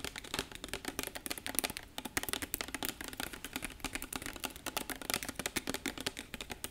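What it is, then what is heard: Glass bottle. Fingertips and nails tap and handle a tall labeled glass bottle with a screw cap, held in both hands. Dozens of quick, dry, bright clicks follow one another in a steady, typing-like patter, each dying away almost instantly.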